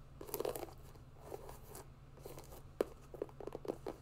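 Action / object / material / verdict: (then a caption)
tap / mesh and synthetic hiking sneaker / synthetic mesh / none. Long nails scratch and tap along the synthetic upper of an empty grey mesh and synthetic hiking sneaker. Soft, dry crunchy scratches come in bursts, with a few sharper, brief taps, over a faint steady low hum. The sounds are short and dry, with almost no ring after each contact.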